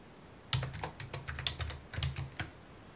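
Fingertips type on a full-size white/mint plastic computer keyboard with a hollow housing, resting on a wooden desk. Quick clicky key taps come in irregular bursts, each a bright snap over a hollow low thud that dies away almost at once. The taps stop and start against a quiet background.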